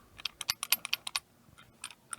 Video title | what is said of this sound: 2002 Subaru Wrx Transmission Rebuild | you hear all that that center diff module there is bad